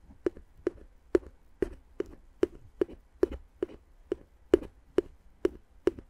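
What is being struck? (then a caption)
Inflated plastic air-column packaging tapped with a wooden stick. A wooden stick taps the hollow, air-filled tubes of clear inflated plastic air-column cushion wrap wrapped around the microphone. About fifteen soft, hollow, dry taps come at a slow, steady pace, each with a low-mid tone near 367 Hz and almost no ring. The taps die out quickly.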